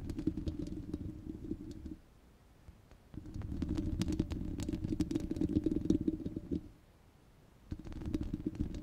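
Long red glitter nails scratch and tap the rounded, hollow steel wire-mesh grille of a handheld microphone. The result is a dense, low, rumbling scrape with a hum near 324 Hz and scattered bright ticks. It comes in three bursts separated by short quiet gaps.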